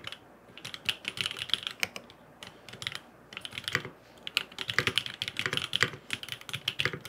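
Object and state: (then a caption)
Aluminum mechanical keyboard with plastic keycaps. A grey aluminum FROG MINI mechanical keyboard with blue and purple plastic keycaps and no foam inside is typed on with fingertips in rapid taps. Bursts of short, bright, crisp clacks come in quick runs with brief pauses between them, each tap dying out almost instantly with little low end.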